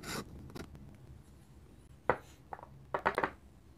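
A steel dip pen nib scratches short hatching strokes across a flat paper sketchbook page. Eight brief, dry, raspy scratches come in loose clusters, with a quiet gap in the middle and a quick run of strokes at the end.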